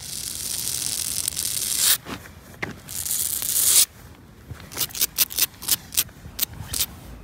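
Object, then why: Poured rubber-granule playground surface. Long pointed nails scratch and rub across the textured granules of a flat, solid poured rubber-crumb playground surface. Two long, bright, hissy scrapes are followed by a quick run of short, crisp scratching strokes. The sound is almost all high-frequency, with little low end.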